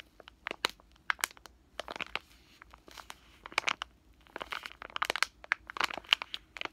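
A full, pillow-shaped soft plastic package of wet wipes with a floral print is held in both hands and squeezed and crinkled with fingertips and short nails. Bright, dry crackles and crinkles come in quick irregular bursts with brief pauses, each snap dying away almost at once over a faint low hum.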